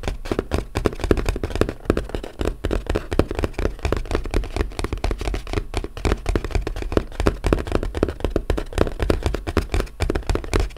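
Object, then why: Small closed corrugated cardboard box. A small, flat, brown corrugated cardboard box, closed and hollow, is tapped and lightly scratched with the fingertips and short nails of both hands. The result is a dense, fast patter of dull, hollow taps with a low, thumping body, very little brightness and almost no ring, going on steadily throughout.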